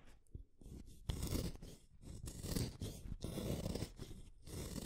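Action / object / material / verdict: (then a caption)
scrape / wooden colored pencil / wood / none. A solid purple wooden colored pencil is shaved with a small metal blade set in a yellow holder. Repeated rough, crunchy scraping strokes come in bursts with short pauses between them, and the sound is heavy in the low end with a dry, gritty texture.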